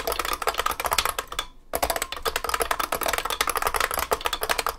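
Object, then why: Vintage mechanical keyboard with plastic keycaps and metal case. Both hands type continuously with their fingertips on a large vintage beige IBM 3278 beam spring keyboard with plastic keycaps and a metal case. The result is a rapid, steady stream of sharp, bright clacks, each key strike decaying almost instantly. A brief pause comes just before the two-second mark, then the clattering resumes.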